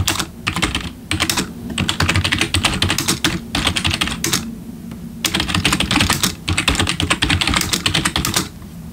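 Fingertips type steadily with both hands on a black plastic RGB backlit computer keyboard. Rapid bursts of bright, crisp key clicks sit over a soft low thump, with brief pauses near 1 and 3.4 seconds and a longer lull around 4.5 to 5.2 seconds. Each keystroke dies away almost instantly.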